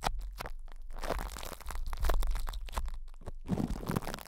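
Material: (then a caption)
Plastic film. Fingertips of both hands rub, pinch and scratch cling film wrapped over a metal microphone grille, producing close, dense crinkling and crunching with a deep low-end rumble. The bursts come in quick irregular clusters, some sharp and separate, others smeared into continuous rustling, with a bright crackle on top.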